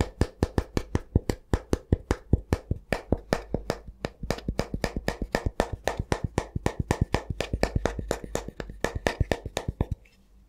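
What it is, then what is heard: Wooden spatula, solid. A solid, flat wooden spatula is held up and tapped with the fingertips in a quick, steady run of dozens of short, dry taps. Each tap is a hollow, low knock with a bright click on top that stops almost instantly with no ring. The tapping keeps an even pace and ends just before the clip finishes.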